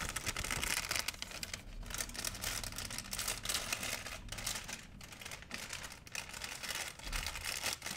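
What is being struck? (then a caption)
Thin plastic shopping bag. A large, empty white plastic shopping bag is crinkled and rubbed with fingers and nails. The result is a steady, bright rustling crackle, dense and hissy across the high range, with a few brief dips where the motion pauses before the crinkling picks back up.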